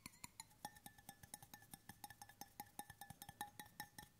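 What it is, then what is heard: Stainless steel water bottle. Fingertips and nails tap the side and bottom of a hollow, brushed stainless steel water bottle of roughly one litre, held in both hands in front of the microphone. About 29 quick, fairly irregular taps each give a short metallic ping near 830 Hz with bright overtones that fades almost at once.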